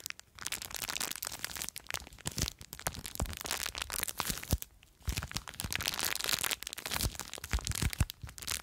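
Long nails scratch and crush a small clear plastic bag full of blue foam beads. The result is a dense run of dry, bright crackles and crinkles with a low rumble underneath, broken by brief quiet gaps near the start and about halfway through.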